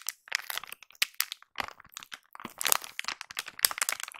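A large, soft blue Plenitud plastic wet wipes pack, seemingly full, is held in both hands with long nails close to the recorder and squeezed and crinkled. Dense, bright crackling and crunching runs in quick, closely spaced bursts, with almost no low end and very short decay.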